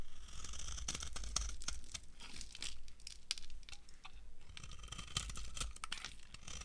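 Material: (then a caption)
Soap. A solid, translucent, dry brown soap bar held in the hand is shaved with a metal knife into long curls. Dense, crunchy tearing and crackling scrapes with bright, high edges sit over a steady low rumble as the curls peel away.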